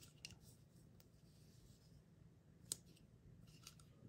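A round teal plastic Stitch mystery capsule with a printed label, palm-sized and hollow, is turned in the hand while long acrylic nails and fingertips tap and click at it and press at its seam. Five quiet, bright, dry clicks stand out over a low, soft hum, with the sharpest one near the middle.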